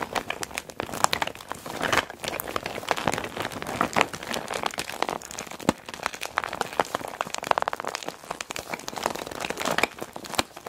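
A small clear PVC zip makeup bag with a neon green zipper, full of cosmetics, is pressed and squeezed flat by palms and long black-nailed fingers. The plastic gives a steady, dense crinkling and crackling with sharp bright snaps scattered throughout, mostly in the mid range with almost no low end.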